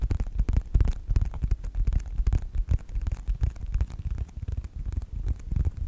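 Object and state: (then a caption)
Faux leather wallet. Fingertips tap and scratch the cover of a closed yellow faux leather wallet with a snap strap, held in both hands. Dull, low, thudding taps come in quick, uneven succession with soft scratching between them, each tap dying away almost at once.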